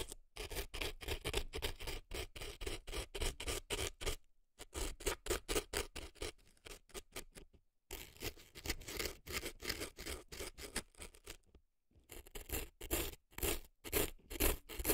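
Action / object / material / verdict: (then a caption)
scrape / dry floral foam in a silicone ear, scraped with an earpick / floral foam / none. An earpick scratches dry floral foam packed into a right silicone elf ear, leaving visible crumbs. It makes a run of crisp, crumbly scraping strokes, close and dry, with bright grit over a soft low rumble and brief silent gaps between bursts.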